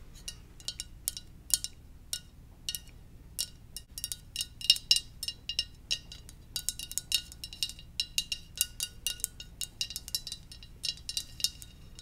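Gentle tapping on a ceramic Darth Vader mug gives many short, bright clinks that ring out almost at once. The taps come in irregular runs over a faint low hum.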